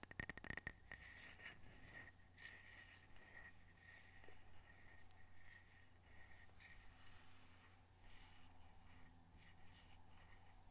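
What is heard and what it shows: A small, solid, square ceramic coaster with blue mountain art, held in the hands, is rubbed and scratched across its glazed surface by fingertips and nails. A quick burst of sharp taps opens the clip, followed by a steady, soft scraping texture with a bright glassy edge around 1.9 kHz. A low hum stays underneath throughout.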